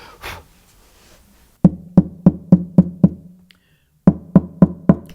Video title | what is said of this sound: ERVIN SOMOGYI 01 - GUITAR MAKER - The Air Pump - Bracing - Tap Tone | this is the voice of the sound box at this point in time